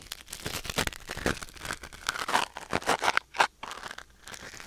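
A thin wooden or bamboo ear pick held in the fingers scratches and scrapes inside the canal of a white silicone ear mounted on a black binaural microphone. The result is a close, dry crinkling and crackling texture with many quick scrapes, some brighter squeaky strokes, and little low end.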